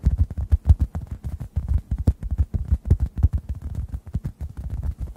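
A rounded, oblong, hand-sized orange synthetic foam sponge, solid, porous and dry, is held above two microphones and tapped with fingertips. Around 34 soft, dull, low thuds come in a quick, uneven patter, with almost no ring and no bright edge.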